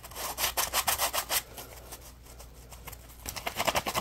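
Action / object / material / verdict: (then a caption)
scrape / textured polymer foam scrub sponge / polymer foam / none. Fingertips rub and scratch the textured surface of a yellow polymer foam Scrub Daddy puppy scrub sponge held in the hands. Quick, rhythmic, bright scratchy strokes are followed by a stretch of quieter, softer rubbing. The fast scratching then returns at the end.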